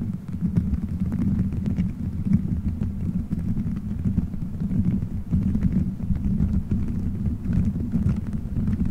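Fingertips squeeze, rub and scratch colorful gelatin gummy bears stuck all over a microphone head in a solid dome shape. The result is a steady, close, muffled low rumble with a throbbing quality around 90 Hz, sprinkled with soft sticky crackles and ticks, and almost nothing in the highs.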